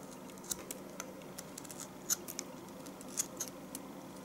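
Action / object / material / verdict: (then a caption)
scrape / bar of household soap cut with a knife / soap / none. A knife shaves curls steadily from the top of a solid bar of household soap. Short, crisp, bright scraping clicks come at irregular intervals over a quiet, steady background hiss.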